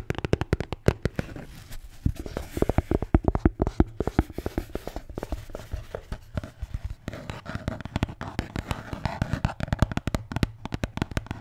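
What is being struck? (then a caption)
Beer can holder. A red Bintang beer can holder is tapped and scratched. Rapid, dull, low-pitched taps come in quick irregular runs with very short decay, over a soft scratching texture that grows busier in the second half.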